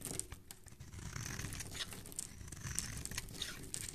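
A utility knife blade scrapes and shaves across the surface of a palm-sized, solid rectangular yellow bar of soap with stamped lettering, held in the hand, sending curls falling off. It makes a steady, dense run of crisp, crinkly scraping and crackling with bright, sharp ticks over a soft low rumble.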